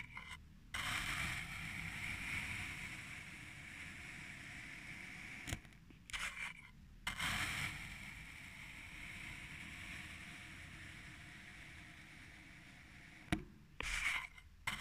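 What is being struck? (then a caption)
Kinetic sand in a glass tumbler. A flat teal plastic or wooden stick is pressed into purple kinetic sand packed flush in a small clear faceted glass tumbler and dragged through it, cutting lines into the sand. Long, steady gritty scrapes with a bright, hissy texture run for several seconds at a time, separated by brief pauses. Sharp little clicks and crackles mark where strokes start and stop.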